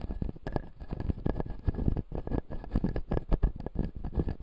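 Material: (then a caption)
Plastic. A fingertip scratches and taps the front teeth of a closed, solid, clear acrylic dental model with white plastic teeth. The result is a rapid run of short, dull, low taps and scratches with very little ring and no bright content.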